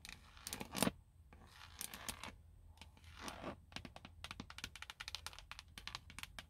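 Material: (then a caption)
Plastic. Long nails scratch and tap the hollow molded plastic airbag cover on a car steering wheel hub. Quiet, bright scratching swishes alternate with rapid, dry clicking taps that die away almost instantly, over a faint low hum.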